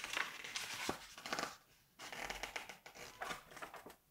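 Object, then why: Glossy paper magazine. Fingertips with painted nails turn and rub across the glossy paper pages of a large open September 1986 Vogue magazine. Bright, crisp crinkling and rustling come in two bursts separated by a brief quiet gap, then fade out.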